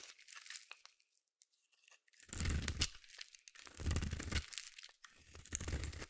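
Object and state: Bar of soap being shaved.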